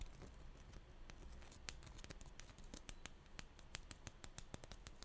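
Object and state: Dried clay ball.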